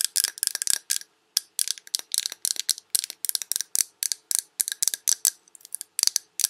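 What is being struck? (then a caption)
Glass candle jar full of wax. Long red nails tap the glass sides of a large Yankee Candle jar full of wax, tilted to show the glass and rim. Rapid, bright, clicky taps come in quick irregular bursts with brief pauses, each one dry and high-pitched with almost no ring.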